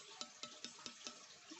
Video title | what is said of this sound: Part 2: ganti gagang Pisau Herder.. | bunyinya beda loh ini ... garing ini